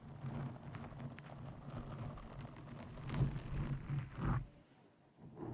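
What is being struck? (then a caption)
Foam microphone windscreen. Long painted nails of both hands scratch and stroke a soft, porous black foam windscreen over the hollow head of a condenser microphone. The result is a deep, muffled rumbling rustle, mostly low in pitch, that swells twice near the end before dropping to near silence and then returning softly.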